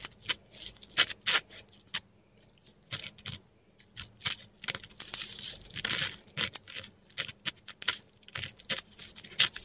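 A metal dip pen nib scratches and drags across a flat sheet of textured Korean paper while writing. Short, bright, papery scratches come in irregular bursts of strokes separated by brief quiet pauses, with almost no low end.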